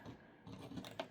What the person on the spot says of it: with no liquid, and you can like hear it, like you get the sound, you can shake it